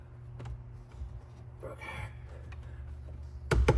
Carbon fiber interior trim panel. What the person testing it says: I'm tapping on that piece up there. I don't hear any rattle.